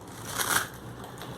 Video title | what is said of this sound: तीन पदार्थ वापरून खमंग, कुरकुरीत चकली साठी चकली भाजणी व भाजणीची चकली | बघा आवाज कसा छान येतोय … हे बघा कसा कुरकुरीत आवाज येतो